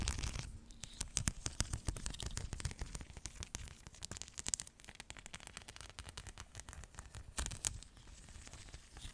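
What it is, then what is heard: Plastic rhinestone sticker sheet. A flexible sticker sheet covered in small plastic rhinestones is scratched and tapped with long nails. Rapid, crisp clicks and crackly scratches with a bright edge come in dense bursts over a soft low rumble. The louder clusters fall near the start and again toward the end.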